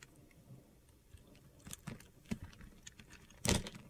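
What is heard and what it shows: A metal utility knife blade carves and scrapes small cubes off a solid yellow bar of soap held in the hand. Quiet, gritty scraping is broken by several short, crisp cuts, with the loudest, brightest crunch near the end.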